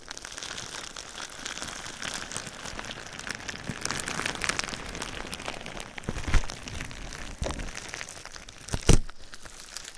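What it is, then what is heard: Foil-lined plastic bubble wrap crinkling. A sheet of metallized, foil-lined plastic bubble wrap held over a binaural microphone is scratched and squeezed with long nails and fingertips. It gives a steady, dense crinkling and rustling, with a few sharper, louder crackles toward the end.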